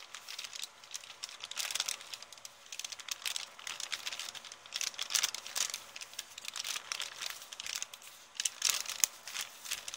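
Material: Paper.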